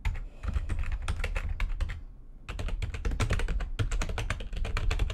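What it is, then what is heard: Plastic computer keyboard being typed on. Fast typing with long nails and fingertips on a full-size plastic computer keyboard with white backlighting and a hollow housing produces rapid, bright clicks over a hollow, low thump. There is a brief pause around the two-second mark before the typing resumes.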